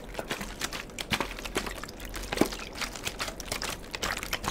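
A partly filled, clear plastic water bottle with a white cap is held and handled with the fingertips. It gives a quiet run of quick, dry crackles and taps, each snapping off almost instantly, with a bright, crinkly edge over a faint low hum.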